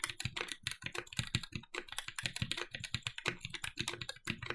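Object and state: Mechanical keyboard with aluminum plate.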